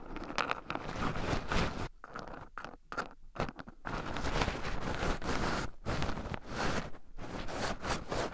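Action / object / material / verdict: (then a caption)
scrape / shelled pine nuts in a wooden bowl / pine nuts / none. Two wooden chopsticks stir and poke into a small wooden bowl heaped full of shelled raw pine nuts, with two black microphones buried in the pile so the nuts also rub against them. A dense, crunchy rustle and scratch of shifting nuts fills the clip, heavy in the low end, with brief quieter gaps between about 2 and 4 seconds and again near 6 and 7 seconds.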